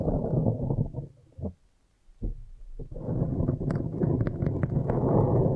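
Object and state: Foam microphone cover.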